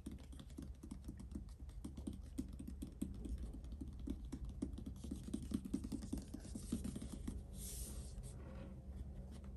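Fingertips and short nails tap rapidly on a closed, hollow, medium printed cardboard subscription box lying flat on a wooden table. The dense, sharp taps sound like typing, with a low, dull, hollow body. The taps stop near the end, leaving a faint brushing hiss.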